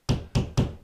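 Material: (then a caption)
Drywall. A fist pounds three times on a drywall wall at a spot between studs, where it is empty and hollow behind. Each blow is a low, hollow thump that dies away quickly.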